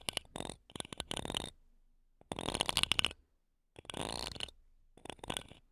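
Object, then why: Metal mesh microphone grille. Wooden toothpicks held between long nails scratch the metal mesh tops of two small, solid silver condenser microphones. Four bursts of dry, bright, rapid scratching and ticking are separated by short silent pauses, with no ringing after each pass.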